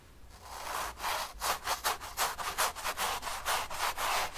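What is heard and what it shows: A bristle brush is dragged and rubbed in long strokes across the painted surface of a large stretched cotton painting canvas resting on a table. It makes a rough, dry, scratchy rubbing that swells and fades with each stroke in an uneven back-and-forth rhythm. The sound centers in the mids with a bright hiss and little low end.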